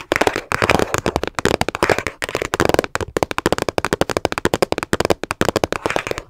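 Long nails tap fast on a small, hollow, hard teal plastic storage case held in both hands. The result is a dense run of sharp, dry clicks with a hollow mid-range tone and very short ring, sometimes blurring into near-continuous rattling bursts.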